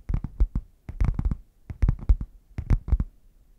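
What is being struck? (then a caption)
Padded faux leather zip case. Fingertips and nails tap and scratch the printed front of a red padded faux leather zip case, hollow and closed and held upright. Fourteen quick, dull, low thuds come in irregular clusters of three or four, each dying out almost instantly with no ring and light scratchy rustle between taps.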